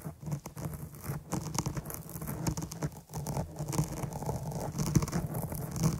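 Long nail tips scratch and poke the top of a dark foam microphone windscreen, producing a dense, continuous stream of muffled scratching and soft pattering. The sound is heavy in the low end with only faint brightness, and it keeps a steady level apart from brief dips near the start and around the three-second mark.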